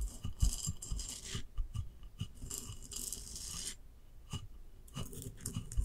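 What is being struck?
Glazed ceramic vase.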